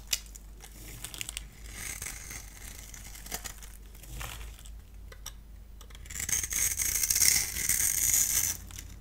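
A solid pale green bar of dry soap, held in the hand, is scored and shaved with a multi-blade cutter, peeling off crumbly curls. Dry, bright scratching and scraping crackles in short bursts, then swells into a louder, sustained shaving rasp near the end before fading.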